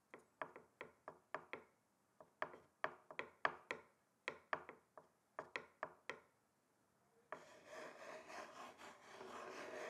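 Two thin wooden sticks held in the hands tap on a large, flat, solid wooden chopping board with a slatted surface, making 21 sharp, dry clicks in quick bursts over about seven seconds. The sticks then scrape along the slats, producing a steady, rough rasping for the last few seconds.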